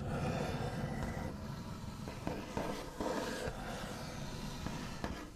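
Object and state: Wooden tabletop scratched and tapped with fingernails.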